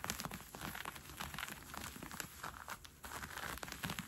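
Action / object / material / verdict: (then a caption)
scrape / cotton fleece sweatpants / cotton fleece / none. Fingertips and nails scratch and pinch a pair of brown cotton fleece sweatpants with an elastic waistband while they are being worn. The result is a quiet, steady run of soft, scratchy rustling with small crackly, crinkly bursts.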